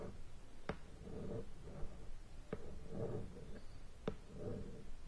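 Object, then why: Cardboard board game box in plastic shrink wrap. A large rectangular cardboard board game box, still sealed in clear plastic shrink wrap, lies flat on a bed while long painted nails tap and scratch across the top of the lid. Three sharp taps stand out, each followed by a soft, low crinkly scratching of plastic over cardboard.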